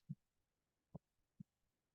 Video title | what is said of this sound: Online Class: How to Use Dried Flowers in UV Resin Jewelry for Beginners - Michaels | you can hear that that it's cured on the top because that's the part that's closest to the light